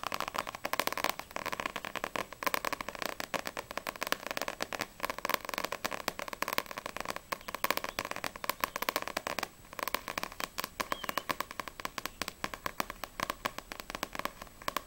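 Long acrylic nails fast-tap the glossy card front cover of a single yellow Assassination Classroom paperback manga with a solid paper block. The result is a dense, continuous stream of sharp, dry clicks with almost no low end, centered around 1 kHz with a bright crackly top. Each tap dies away instantly.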